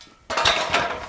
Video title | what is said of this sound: Making a Dead Forklift Run Again With Machine Shop Magic | слышно, что там что-то гремит , но это не жидкость, а главным образом потому, что пусто